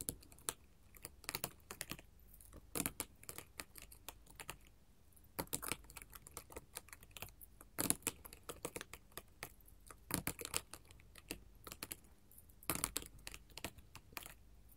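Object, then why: Glass mosaic tile sheet tapped with metal nail tips. Long gold metal filigree finger claws tap rapidly across a flat sheet of colored glass mosaic tiles. The result is a quiet, dense patter of sharp, bright clicks that die away almost instantly, with occasional louder taps breaking through in quick clusters and brief pauses.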